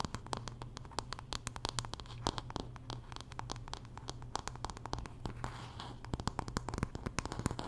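Long nails scratch and tap rapidly on the wooden back of a paddle hairbrush with dark pin bristles. Sharp, short clicks come in quick irregular bursts over soft scratchy rustling, with a steady low hum underneath throughout.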